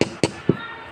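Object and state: Solid stone.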